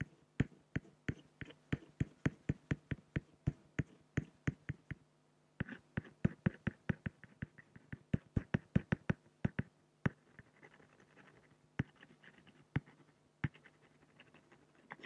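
A black fine-liner pen scratches hatching strokes for a raven's neck on a large, flat, solid acrylic sheet. It makes a rapid run of short, dry ticks and scrapes with almost no ring, pausing briefly around five seconds. The strokes then thin out into sparser taps over a faint steady low hum.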